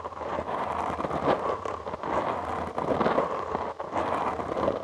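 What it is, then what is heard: Foam microphone windscreen being scratched. Short nails and fingertips scratch a soft, porous black foam windscreen on a studio microphone. The result is a continuous, dense, crackling rustle centered in the low mids, with brief dips between bursts of scratching.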